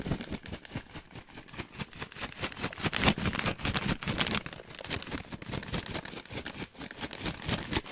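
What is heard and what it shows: An orange plastic foil snack bag with nuts inside is held up and shaken close to the microphone. It makes continuous, irregular crinkling and rustling, with the nuts rattling and shifting inside. The bright, dense texture swells louder around the middle and comes in quick, uneven bursts.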